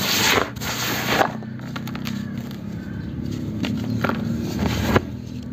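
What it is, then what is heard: Dry cement chunks crumbling. A palm-sized solid block of dry grey cement is squeezed and crushed by both hands inside a black plastic tub. It gives dry, gritty crunches and crackles with bright bursts, loudest at the start and near the end. Crumbled fragments and powder patter and scrape softly as they fall from the fingers.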